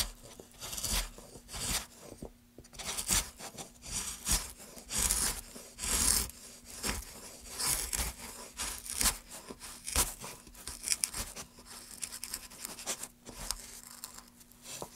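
A metal gouge scratches and scrapes along the carved surface of a solid, light wooden board held in gloved hands. Bright, rasping strokes repeat at an uneven pace of roughly one per second, each dying away almost at once, over a faint steady low hum.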